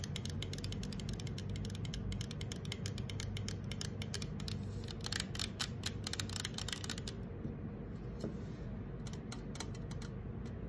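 Long acrylic nails scratch and tap rapidly on the curved side of a hollow green 355 mL aluminum soda can standing upright on a marble table; its fill is not visible. Dense, short, bright clicks and scratchy ticks run over a steady low rumble. The tapping grows louder and busier midway, then thins to sparser clicks toward the end.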